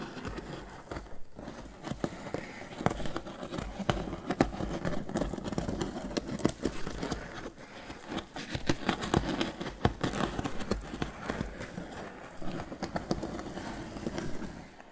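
Fingertips and nails scratch quickly across the lid of a grey crocheted twine lidded basket box. The result is a dense, steady, crackly rustling with many short sharp ticks, mostly low-to-mid in tone, continuing for about fifteen seconds with brief softer dips.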